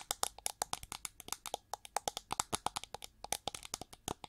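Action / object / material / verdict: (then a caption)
tap / metallized plastic hair brush back / plastic / none. Long nails scratch and tap fast on the ridged back of a hand-held, hollow, gold-metallized plastic hair brush with sculpted wing ridges and red bristles. About 35 quick, dry clicks and scrapes come in a rapid, uneven stream, each bright and hollow-toned around 855 Hz, dying away almost at once with little low end.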